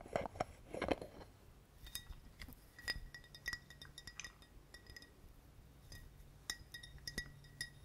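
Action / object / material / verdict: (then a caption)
tap / glass bottle / glass / none. Fingers tap on a glass bottle in a quick, irregular series of light, clinking taps. Each tap rings briefly with a bright, glassy tone, and the first second holds a fuller, louder burst before the taps settle into sharper, cleaner clinks.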